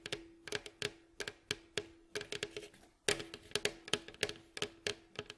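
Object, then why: Wooden mandolin bowl back. Fingertips and short nails of both hands tap and scratch the rounded, hollow back of a mandolin built from alternating light and red-brown glossy wood staves, which lies face down on a fabric mat. A quick, uneven run of short, bright, dry taps, with faint scratching between them, sits over a low steady ring near 414 Hz. Each tap dies away almost at once.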